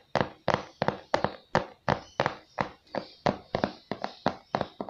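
A glossy printed cardboard microphone box, hollow and apparently still holding the product, is held in both hands and tapped and scratched on its face with fingertips and nails. The result is a fast, uneven series of short, dry, hollow taps, each with a brief papery scratch and almost no ring.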